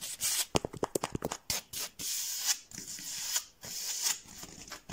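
Fingertips tap and scratch across a large, flat, blue textured foam mat. A quick run of soft, dry taps gives way to longer, bright scratching strokes with a hissy, high-pitched rasp and almost no low end.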